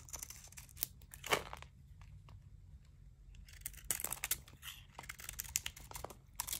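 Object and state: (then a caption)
Dry bar soap being scraped. A small knife scrapes thick, crunchy curls off the face of a dry Zest bar soap with a green painted edge, held in a hand with long dark-painted nails steadying it. The sound is a quiet run of bright, dry scraping crunches and crackles, with short bursts clustered early and again later, over a low steady hum.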